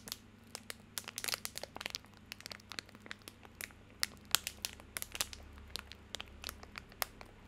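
A small wrapped soap bar in a plastic/paper wrapper is held in both hands while the fingertips crinkle, squeeze and lightly scratch the wrapper. About 29 quick, bright crackles and snaps come in uneven bursts over a faint low hum. Each crackle cuts off almost instantly.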